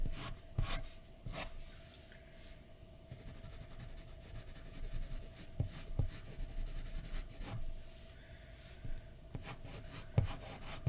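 A graphite pencil held in one hand scratches and shades continuously across a flat white paper drawing sheet lying on a dark desk. The sound is a quiet, dry rubbing and rasping with short, sharper scratchy strokes scattered throughout.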